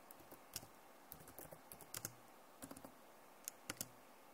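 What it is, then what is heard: Plastic laptop keyboard. Both hands type on a backlit plastic laptop keyboard with fingertips and nails, making quiet, scattered clicks and taps. Each key press is a brief, bright tick with a faint low thud and almost no ring, coming in irregular small bursts over a soft steady hiss.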